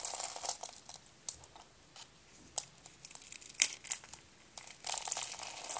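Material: Soap.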